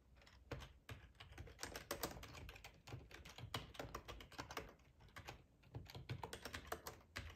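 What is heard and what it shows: Fingertips with short nails type steadily on a hollow black plastic ergonomic split keyboard resting on a plaid tablecloth. The keys give quick, irregular clacking taps with a hollow, low thump beneath each press and a very short decay. Bursts of faster typing alternate with brief pauses.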